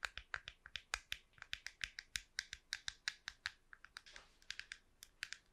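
Long nails tap and scratch the top shell of a small, hollow, silver-grey plastic wireless computer mouse held in one hand and moved close to the microphone. Dozens of dry, bright clicks come in a quick, uneven run, each dying away almost at once. A short, breathy scratch blurs the taps partway through.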